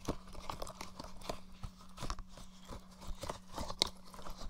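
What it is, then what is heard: Plastic game controller. Fingertips tap and knock the shell of a blue, hollow plastic PS4-style gamepad held at a dummy head's right ear. About ten short, dry, hollow clicks and knocks come in an uneven rhythm, with a few sharper bright ticks. A faint steady low hum runs underneath.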